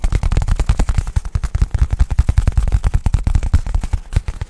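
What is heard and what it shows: Fingertips rapidly tap and scratch the surface of a black nylon fabric bag held in front of the mic. The result is a dense, fast run of deep, dull thumps with almost no high end. Each thump dies away instantly, so the sound reads like a muffled, rumbling patter.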